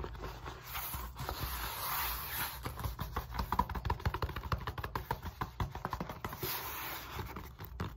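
Fingertips and long nails rub and scratch the side, then the end face, of a solid black molded polyethylene foam roller resting on a lap. A soft broadband scraping wash gives way to a fast run of dry, crackly scratches, with a low, dull body under the bright texture and no ringing after each stroke.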